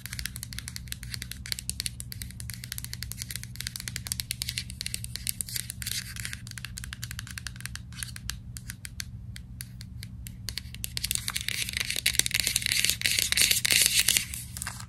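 Long nails tap and scratch on the label of a white plastic vitamin capsule bottle with a screw cap. Quick, uneven, bright clicking and rasping run throughout over a steady low hum. The scratching grows denser and louder toward the end.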